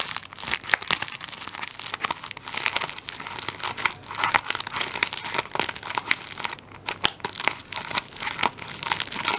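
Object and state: Plastic-wrapped tissue roll.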